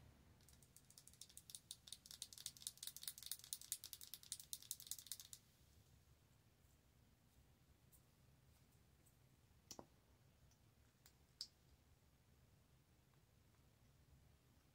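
A small, filled pink "Plump Fill Lift" plastic lip gloss tube with a cap is held in both hands and tapped and clicked with long nails. For about five seconds, quick, irregular, bright clicks come in a dense burst. They are followed by quiet low hum with a few isolated sharp taps near the end.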